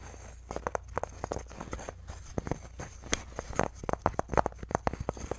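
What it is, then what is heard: Wooden chew toy. Fingertips and short nails scratch and tap the green-painted flat wood panels and natural twig sticks of a handheld wooden rabbit chew toy, about 15 cm, with panels tied with twine and green wooden beads, held in both hands. The result is a quick, uneven series of dry, short wooden clicks and taps with soft scratching between them, centered in the mids with almost no ring.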